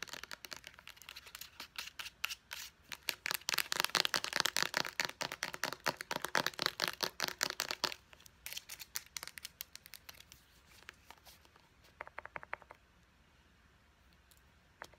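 Long nails rapidly tap the body and purple pump of a white hard plastic Clean & Clear pump bottle, making dry, bright clicks. The tapping is dense and loudest through the middle, then thins into sparser, quieter taps with a short burst near the end.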